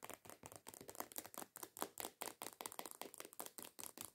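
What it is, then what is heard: Plastic lotion bottle. Long acrylic nails rapidly tap and scratch on a medium-size white plastic body lotion squeeze bottle printed with coconuts. About 22 short, dry, clicky bursts arrive in an irregular, fast rhythm, bright and scratchy with almost no low end and no ring after each hit.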